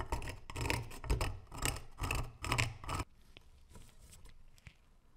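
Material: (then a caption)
Steel. A thin metal pick scrapes the crust off a solid rusted metal dagger, which is held in gloved hands over a wooden slice. For about three seconds there are repeated rough, gritty scratching strokes in quick bursts. They then stop, leaving faint light ticks and a soft tap.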